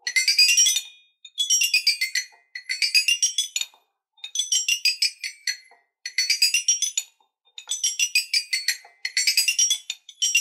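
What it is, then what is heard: Toy xylophone with metal bars. An eight-bar toy xylophone with colored, painted metal bars on a wooden frame is tapped with two wooden ball-head mallets, playing quick up-and-down runs across the bars. Bright, high, bell-like notes ring briefly in rapid bursts separated by short pauses, with no low end.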